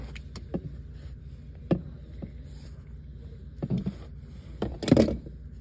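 Fingernails scratch grey woven mesh car seat fabric with a darker seam band on a padded seat. Short, soft scratching strokes come in scattered bursts over a quiet low background rumble, with the strongest, longest rasp near the end.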